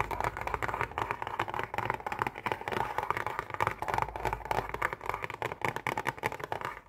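Long painted nails tap and scratch quickly on a hollow, printed cardboard Oreo cookie box. The result is a dense, rapid stream of dry clicks and papery scratching, centred in the midrange with little low end and each tap dying away almost at once.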